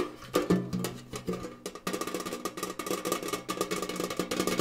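A tall, hollow, rectangular gingham-printed metal Kellogg's tin canister, held up with its bottom showing, is tapped quickly and hard with fingernails and fingertips. The taps sound hollow and metallic with a short ring, starting sparse and then speeding into a dense, continuous patter.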